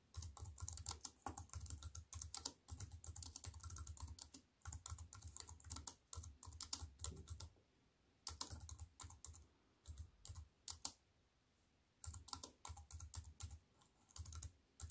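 Fast fingertip typing with long white nails on a compact wireless keyboard with black plastic keys set in a thin silver aluminium frame, resting on a wooden table. Rapid, dense bursts of short, sharp clicks carry a low thud underneath and a bright, crisp tick on top. Brief pauses fall near the middle and again shortly before the final burst.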